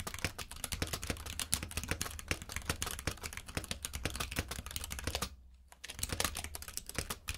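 Fingertips type quickly on a compact mechanical keyboard with plastic keycaps, producing a dense stream of sharp, bright clacks that die away almost instantly. A steady low hum runs underneath. The typing pauses for about half a second just after the five-second mark, then resumes at the same pace.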